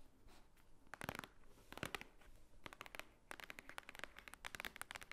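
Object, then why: Thick stack of paper pages. A large, thick, solid stack of white paper pages lying on a wooden table is tapped and scratched on top with long painted nails. Quick bursts of dry, crisp clicking taps mix with scratchy rustles, bright and papery with no ring, separated by short quieter stretches of soft scraping.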